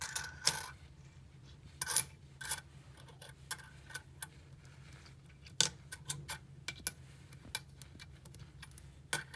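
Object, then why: Small metal coins. A few small gold- and silver-coloured metal coins on a dark tabletop are moved, stacked and clicked together by fingertips with long nails. About sixteen bright, sharp metallic clicks and taps ring very briefly over a low steady hum, some sounding as soft scrapes as the coins slide.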